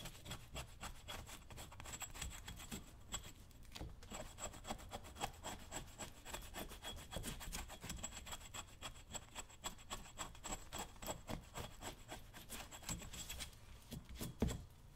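A metal chisel rubs and scrapes the leather upper near the laces of a brown leather work boot resting on a stand, steadied with one hand. A quiet, steady run of rapid, dry scraping strokes carries a low rumble underneath, with faint high tones lingering throughout. The scraping pauses briefly near the end before a final louder scrape.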